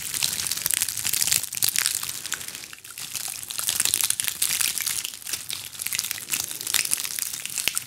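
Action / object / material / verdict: scrape / ball of small dried pine cones / dried pine cone / none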